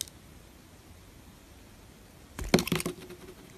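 A small metal blade shaves thin curls off the surface of a solid, opaque, hand-sized pink bar of soap held in one hand. After a long, near-silent stretch, three quick, crisp scraping cuts with a bright, crackly edge come close together, then fade into faint background hiss.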